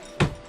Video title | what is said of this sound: RV Renovation - Electric Fireplace Installation - Full Time RV Living | these side pieces here are hollow